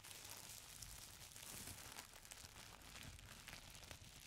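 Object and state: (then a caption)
Tissue paper being crinkled. Fingertips and nails press, squeeze and scratch a folded stack of thin purple tissue paper. The result is a continuous, quiet, bright crinkling with soft low rustle underneath and no clearly separate hits.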